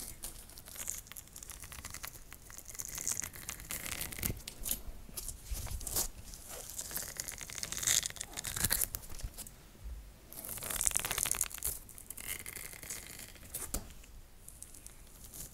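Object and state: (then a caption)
Rubber hot water bottle. Long nails scratch along the ribbed surface of a cream-colored rubber hot water bottle, which appears empty and is held upright. The result is bright, raspy scratching in uneven bursts, with tearing and crinkling textures, a few sharper clicks, and some louder stretches near the middle and end.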